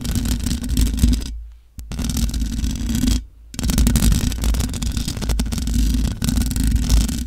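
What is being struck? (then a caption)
Metal mesh microphone grille. Long nails scratch the sides and top of the hollow metal mesh grille on a large black microphone. The result is a dense, continuous rasping scrape with a heavy, boomy low rumble, broken by two brief near-silent pauses before the scratching resumes.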